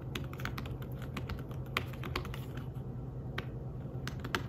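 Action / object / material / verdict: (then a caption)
tap / fabric-covered tablet keyboard / fabric / none. Fingertips type rapidly on a thin, flat, grey fabric-covered folio keyboard for a tablet, producing a quick stream of soft, dull key taps. The taps are short and muffled, riding over a steady low background hum.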